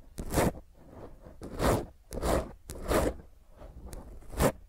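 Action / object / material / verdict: scrape / foam microphone windscreen / foam / none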